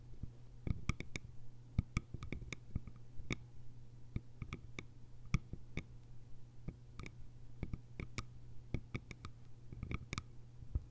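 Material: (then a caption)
Bamboo. Long almond-shaped nails tap the upper sides and lid rim of a small, round, hollow bamboo jar with a lid. The result is an irregular run of quick, dry, bright clicks, some in close bursts, each dying away almost at once. A steady low hum sits underneath at a quiet overall level.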